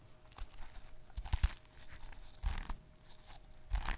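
Fingertips and short nails rub and scratch the plastic sequins on a small sequin notebook cover, making a dry, crinkly scraping. Soft rustling runs throughout, with sharper bursts of brushing near the start, middle and end, each carrying a bright sizzle above a low thump.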